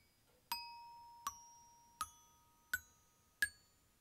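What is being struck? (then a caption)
Aluminium glockenspiel bars struck with a wooden mallet. Aluminium glockenspiel bars on a metal glockenspiel are struck with a black-headed wooden mallet, five times in a row. Each note is brighter and higher than the last, rising from just under 1 kHz to about 1.7 kHz. Every strike gives a clear, bell-like ding that rings on and fades slowly under the next one.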